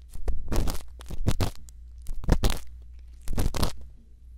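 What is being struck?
Silicone ear of a binaural microphone, scratched with a bamboo earpick.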